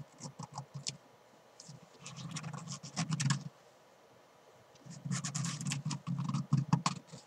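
Fingernails scratch and rub the front and padded rim of a soft, hollow black and green fabric climbing chalk bag. Bursts of dry, scratchy rubbing with a low fabric rustle and bright edges come in two main spells, separated by quiet pauses.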